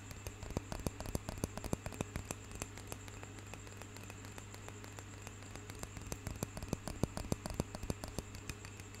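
A small solid wooden roller massager, held in both hands close to the microphone, is tapped and scratched with fingernails. Short, dry, irregular clicks and taps scatter across the clip over a faint scratchy rustle, easing off in the middle before picking up again. A steady low hum runs underneath throughout.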